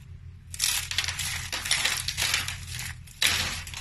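A pile of small, dry, brittle multicolored soap flakes, crushed from soap roses, is scooped and squeezed in bare hands with the fingertips. It makes bright, crackly crunching and crushing sounds in overlapping bursts, with a sharp loud squeeze near the end, over a faint low steady hum.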